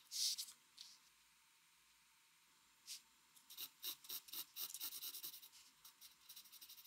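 A mechanical pencil, held steady, makes small scratching strokes on a flat white drawing paper sheet. A loud bright scratch and a faint one open the clip, followed by a pause and a single stroke. Then comes a quick run of short, crisp, high scratches that fade toward the end.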